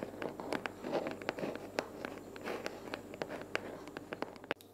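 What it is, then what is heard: Cardboard box. Long purple natural fingernails tap and scratch a small, empty-looking, hollow brown corrugated cardboard box resting on a wooden table. Quick, dry, clicky taps with short bright transients sit over a soft scratching hiss. The rapid tapping runs steadily until it stops abruptly just before the end.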